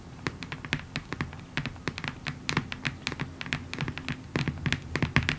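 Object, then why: Cardboard box tapped with fingernails. Long acrylic nails on both hands tap rapidly across a hollow, long rectangular printed cardboard box (diamond art kit packaging) lying on a table. About thirty quick, clicky taps have bright crisp tops over a soft, hollow low thump. Each tap dies away almost instantly.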